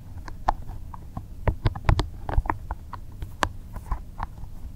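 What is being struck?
Soft rubber spiky massage ball.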